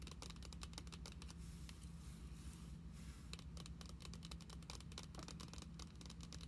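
Long acrylic nails tap and scratch the back side of a glossy plastic Pokemon card binder lying closed and flat on a table. Quick, bright clicking taps give way to a softer stretch of scratching near the middle, then the rapid tapping returns. A steady low hum sits underneath throughout.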